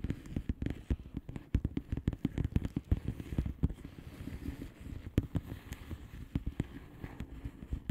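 Long painted nails of both hands tap rapidly on a flat blue plastic bubble wrap envelope with air-filled bubbles. The result is a dense, irregular patter of short, dull, low taps with faint crackly clicks that stop almost instantly, each with no ring.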